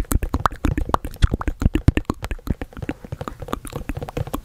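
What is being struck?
Printed cardboard box.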